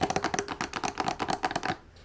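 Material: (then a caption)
Wood. Rapid fingertip tapping on the completely wooden side of a Lebanese serving tray with a glass top and machine-cut designs gives a quick run of short, dry knocks with a mid-range tone. The tapping stops at about 1.75 seconds, leaving quiet.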